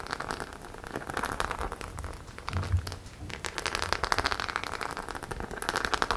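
Long nails scratch and tap across a flat, hollow white faux leather clutch bag covered in small metal and plastic studs. The result is a dense, steady crackle of quick clicks and scrapes, like rain pattering on a surface, centered in the mids around 1 kHz. A few duller low knocks come through near the middle of the clip.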